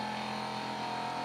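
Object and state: Nothing is struck.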